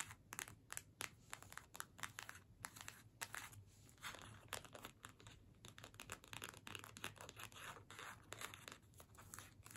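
Long nails scratch a small, flat cardstock holiday gift tag held in both hands. The result is a quiet run of dry, crisp, papery scratching strokes, bright and fast, each one brief with almost no ring.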